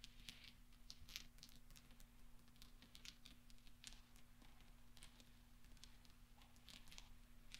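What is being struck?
Small steel balls.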